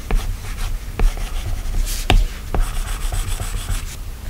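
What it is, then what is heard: Stylus on glass tablet screen. A plastic stylus tip rubs and scratches short strokes across the solid glass screen of an iPad, with a steady dry rubbing under a low rumble. Four sharper ticks stand out above the soft scraping.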